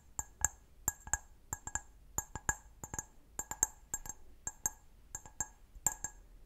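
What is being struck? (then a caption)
Glass wine glass foot. Fingernails tap quickly on the foot of an empty, medium-size, hollow, clear stemmed wine glass held sideways. The result is 23 sharp, bright clinks in uneven bursts, each with a high glassy ping that dies almost at once.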